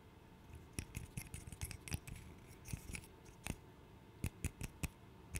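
A small, solid, light wooden interlocking burr puzzle is held in both hands while its pieces are tapped and clicked with the nails. The result is a quick, irregular run of dry, sharp clicks with a bright edge and almost no ring, over a soft, low background. Some taps come in close clusters, and a few louder clicks stand out near the end.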